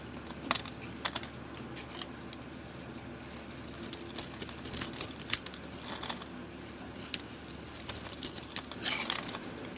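A utility-knife blade scrapes the cream interior of a solid oval soap bar with a copper-colored coating into shavings. Short, dry, bright scraping and crinkling bursts come in irregular clusters over a steady low hum. Each stroke stops almost instantly with no ring.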